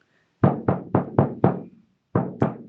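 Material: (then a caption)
Hide. A frame drum with a hide skin on a wooden frame and an inner-tube tensioning system is knocked while cold and slack, before the tube is inflated. Seven dull, low thuds centered near 145 Hz die away almost at once with no ring: five in a steady run, a pause, then two more. The loose skin doesn't sound.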